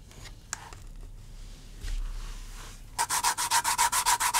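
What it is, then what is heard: Vegetable-tanned leather scratched with an awl. The metal tip of a wooden-handled awl scratches and scores a flat, thin panel of natural vegetable-tanned leather resting on a cutting mat. Soft, faint scraping and a sharp tick give way to a quick, regular series of loud, bright, raspy strokes with a scratchy tone around 1 kHz.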